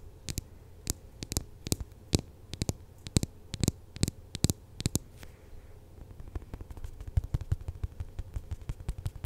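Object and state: Foam squishy toy tapped with nails.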